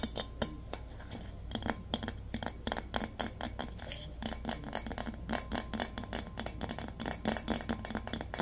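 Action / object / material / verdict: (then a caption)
tap / glazed ceramic vase / ceramic / none. A large, round, glazed ceramic vase with a rose painting, hollow and empty, is held in both hands and tapped with fingertips and nails. Rapid, irregular taps make short, bright clicks with a hollow, low tone near 230 Hz that dies away almost instantly, over a steady low hum.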